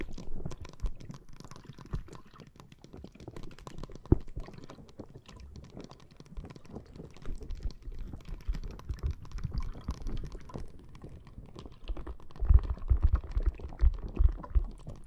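Long nails tap and scratch a clear plastic bag full of green water beads lying flat on a microphone. The result is a dense, irregular stream of muffled, squishy taps and rustles, mostly deep and bassy. A louder flurry of taps comes near the end.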